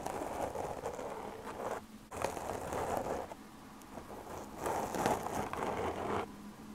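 Long, dark-painted nails on both hands scratch and tap the surface of a medium-sized black foam windscreen covering a microphone. Dense, crackly scratching rustles come in three bursts separated by quieter pauses, centered in the midrange with a faint bright hiss.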